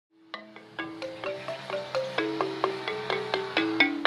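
A home-made slate lithophone, about ten flat, solid, thin recycled slate slabs resting on white tubes on grass, is tapped with two red-headed felt mallets on wooden handles. Quick, evenly spaced tones step across the slabs to play a tune. Each tone is a bright, short ring that dies away fast.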